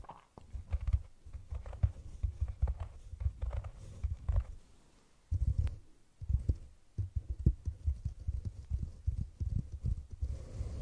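Long nails tap and scratch the rim and sides of a round, hollow brown cork cylinder container sitting over the microphone. The result is dense, muffled low thuds and soft scratchy rustles in quick irregular bursts, with a brief near-silent pause midway.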